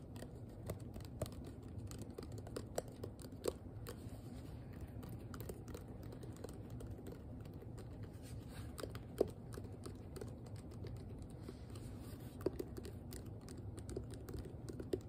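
Long nails and fingertips tap on a hand-sized, hollow pink plastic detangling hairbrush shell. The result is a quiet, steady stream of soft, irregular taps and light scratchy clicks. The sound has a hollow plastic tone, most of its energy is low, it carries little high content, and each hit dies away almost instantly.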